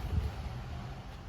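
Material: Nothing is struck.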